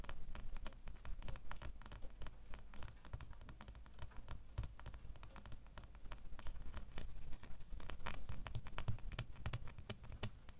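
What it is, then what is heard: Metal key tapped with fingernails. Fingernails tap quickly on the bow and blade of a small, solid metal door key held in the other hand. The result is a fast, dense patter of short, bright clicks that die away almost instantly, over a steady low rumble.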